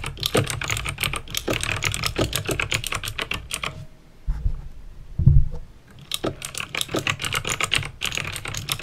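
Fingertips with painted nails type on a backlit plastic mechanical keyboard with clicky green switches, producing rapid, bright, sharp clicks over a steady low rumble. The typing pauses briefly near the middle, where a single dull low thump sounds, then resumes in a quick, continuous clatter until the end.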